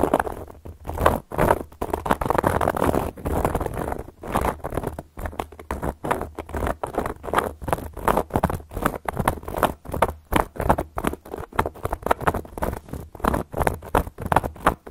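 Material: Cork.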